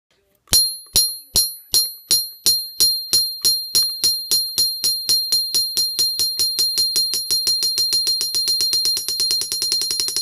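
A steel ball bearing is dropped 10 inches onto the face of a Princess Auto 22 lb cast steel anvil, bouncing back to about 8 to 8.5 inches measured from the bottom of the ball. Each bounce gives a bright, high metallic ping, with the bounces coming faster and closer together until they become a rapid chatter. The anvil is judged a good, hard one.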